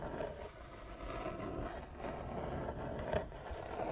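Long nails scratch back and forth across a large, flat wooden chess board with inlaid squares. The result is a soft, continuous dry rasp with a steady midrange tone, rising and falling as the strokes change direction, with a couple of slightly sharper scrapes near the end.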